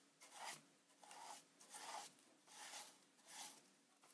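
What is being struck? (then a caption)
Plastic instant camera body brushed with a bristle brush. A wide bristle paint brush is rubbed back and forth over the silver front panel of a Polaroid Supercolor 635 instant camera, a hollow plastic body standing on a wooden desk. About five soft, rasping brush strokes sweep past at a steady, unhurried pace. Each stroke is a bright, airy scratch centred around 800 Hz with a dry, quick-fading edge.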